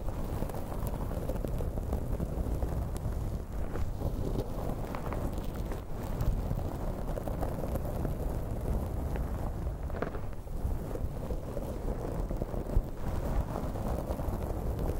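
Long painted fingernails of both hands scratch and rub through the fibers of a light blue synthetic-hair wig draped over a recorder microphone. The sound is a steady, dense, low rumbling scratch with a muffled crackle and almost no high end, holding an even level throughout with only small flickers of louder friction.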